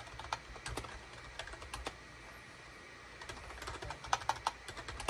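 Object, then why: Plastic computer keyboard. A full-size gray, cream and orange SHIPADOO K600 wired USB plastic keyboard with a hollow plastic housing, resting on a desk mat, is typed on rapidly with the fingertips of both hands. It makes quick, dry plastic clicks with a mid-range clack and bright edges. Bursts of keystrokes come in the first two seconds, then a brief quiet lull, then denser, louder typing toward the end.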